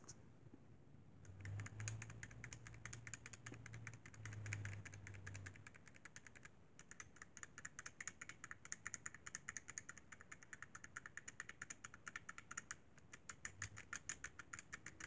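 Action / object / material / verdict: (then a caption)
tap / plastic handheld game console / plastic / none. Fingertips tap rapidly and steadily on the top edge and shoulder buttons of a hollow, silver-white plastic Sony PSP handheld game console. The result is a dense run of light, bright plastic clicks with short decays. A low hum near 100 Hz sits underneath for roughly the first five seconds.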